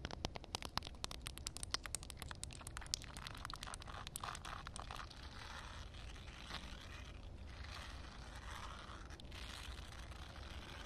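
Long red nails tap quickly on a rough, flat concrete surface wet with a shallow puddle, making a dense run of sharp, bright clicks for about the first five seconds. The tapping then gives way to steady gritty scratching and scraping across the wet concrete, a hissy, crunchy texture that continues to the end.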